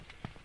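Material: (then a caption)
Fruit. A nangkadak fruit, a jackfruit-cempedak hybrid, is struck while still on the tree and gives a short, low, dull thud with almost no ring. The loud, clear "bubuk" sound marks the fruit as ripe.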